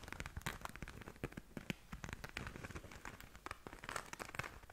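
Long nails scratch and tap across the glittery surface of a small, flat pink glitter-covered zip pouch that is soft, hollow and looks empty, held up in both hands. The result is a quiet, steady run of dry crinkly scratching dotted with short, sharp taps, carrying both low thuds and bright crackle.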